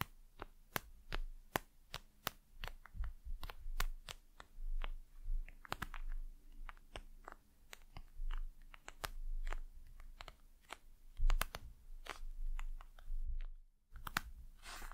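A patterned, plastic-covered, flexible gel-filled eye mask is tapped and scratched with long nails. Sharp, dry clicking taps come in quick irregular runs over a low rumble, with soft crinkly scratching between them. A brief silence falls near the end before a burst of brighter scratching.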